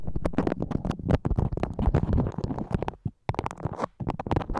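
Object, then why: Beeswax-coated cotton food wrap. A floral beeswax-coated cotton food wrap, stretched over a microphone, is scratched with long acrylic nails. It makes dense, close, crackling scratches with a heavy low rumble and bright crisp edges, broken by two brief silent pauses near the end.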